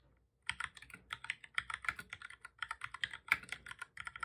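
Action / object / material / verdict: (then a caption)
tap / plastic computer keyboard / plastic / none. Both hands type steadily with their fingertips on a full-size black plastic computer keyboard resting on a desk, its hollow body rattling with the keys. After a brief silence, a quick, even run of about thirty short, bright plastic clicks follows, each dying away almost instantly, with almost no low end.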